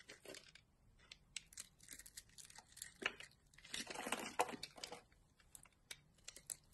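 A utility knife carves a solid green bar of soap, lifting strips and shavings off its surface. Quiet, irregular scraping and crisp crinkling cuts come in quick bursts, brighter through the middle, with a few sharp higher clicks and a short dry decay.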